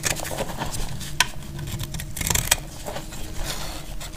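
A utility knife blade scrapes fine, crumbly shavings from a solid bar of dried brown speckled soap held in the hand. Dry, gritty scraping runs steadily over a low rumble, broken by a few sharp, bright clicks as the blade catches.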